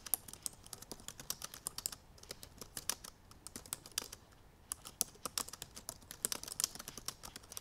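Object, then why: Plastic laptop keys. Long purple nails type quickly on the black plastic keys of a silver aluminum MacBook Pro laptop keyboard. About fifty short, bright, dry clicks come in rapid bursts, with brief pauses near the two-second mark and between roughly three and a half and four and a half seconds, and almost no low end.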